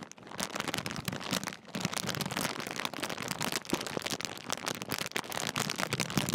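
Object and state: Crumpled foil crisp packet.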